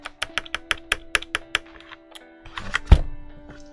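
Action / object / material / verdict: tap / steel keyboard mounting plate / steel / none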